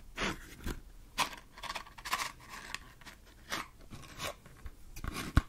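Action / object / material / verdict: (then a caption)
tap / cardboard matchbox / cardboard / none. Long green nails tap and scratch a small, hollow red-and-yellow printed cardboard matchbox with matches inside. The result is a series of short, dry, crunchy bursts with brief bright scratching edges. A few sharper taps close the clip.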